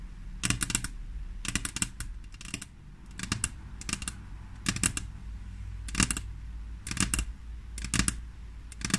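Long fingernails of both hands rapidly tap a flat, solid glass tabletop, making quick bursts of sharp, bright clicks separated by short pauses. Each tap dies away almost instantly, with a steady low rumble underneath.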